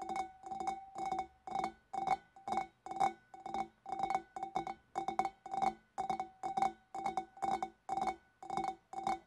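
Long black nails on both hands tap the shoulder near the scalloped rim of a large, clear, empty, hollow glass fish bowl. The taps come in quick, uneven clusters of clicky glass clinks, each ringing briefly at a clear pitch around 780 Hz with bright overtones.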